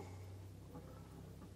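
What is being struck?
Nothing is struck.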